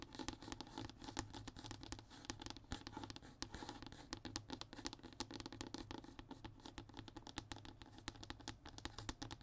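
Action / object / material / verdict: scrape / thin hardboard (fiberboard) panel / hardboard / none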